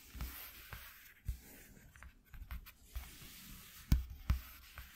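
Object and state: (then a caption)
Corrugated cardboard sheet. Fingertips and short nails scratch along a flat white corrugated cardboard sheet resting on black cloth. The result is a quiet series of soft, low bumps and brief scratches, about nine in irregular rhythm, with faint bright rasping streaks and very short decay.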